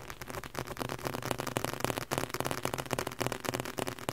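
Fingertips tap rapidly on the cover and spine area of the same red leather-covered book. The result is a quick, uneven run of dry, dull taps, about three per second, with a low thump underneath and a broad rustling texture. Each tap dies away almost at once.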